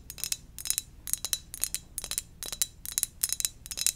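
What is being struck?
Ceramic mug.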